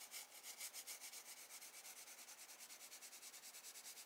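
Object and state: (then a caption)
Graphite pencil strokes on sketchbook paper. A wooden graphite pencil held in the hand makes light, sweeping scratch strokes on a spiral sketchbook page of drawing paper, shading the light beams beside a lighthouse drawing. The quiet, steady back-and-forth strokes produce a dry, bright, hissy scratching with almost no low end, pulsing in a quick, even rhythm throughout.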